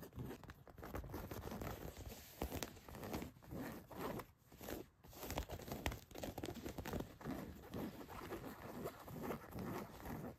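Long white nails scratch across the back pocket area of blue denim jeans laid flat. The result is a steady, rough, scratchy rustle of fabric, mostly low and muffled, rising and falling in short strokes with brief pauses between them.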